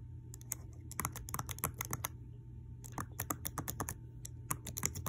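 Long clear acrylic nails with a white floral design tap and click the plastic keycaps of a black laptop keyboard with a solid deck, across the number row and letter keys. Quick bright clicks come in two bursts separated by a short pause, over a steady low hum.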